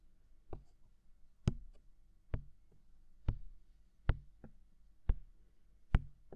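Fingertips tap a hollow, mounted white silicone ear of a binaural microphone, giving eight soft, dull thuds at an irregular, unhurried pace. Each tap is quiet, deep and muffled, with a brief bright click at the start and almost no ring afterward.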